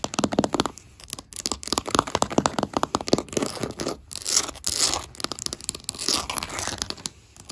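Fingertips and long black acrylic nails tap and scratch solid oak-grain wooden floorboards, with a metal ring worn on the hand. A fast run of dry, sharp clicking taps centered around 1.2 kHz fills the first half, giving way to bright, hissy scratching bursts mixed with more tapping. Each hit dies away almost instantly, leaving little low end.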